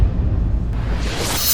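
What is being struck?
Nothing is struck.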